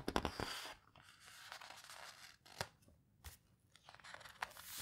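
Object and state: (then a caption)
Paper photo book pages being rubbed and turned. Fingertips with long nails press and rub the paper pages of an open photo book and turn them. A close, quiet series of crisp, bright rustles and scratchy paper crinkles comes in uneven bursts, with short sharp snaps as pages flip, separated by soft, near-silent gaps.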